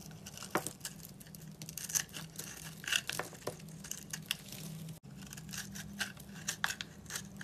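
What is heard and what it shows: A utility knife blade scrapes a dry, solid black-and-white striped bar of soap scored in a grid until it crumbles. Dense, bright, crunchy scraping and crackling run throughout, with sharp crisp snaps over a faint steady low hum, and a brief dropout near the five-second mark.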